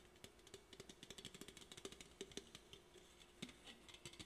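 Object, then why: Aluminum drink can. An Olipop aluminum drink can is held in both hands while fingernails tap and scratch its sides and top. The result is a quick run of light, bright metallic ticks and clicks, each dying away almost at once, over a soft scratchy hiss.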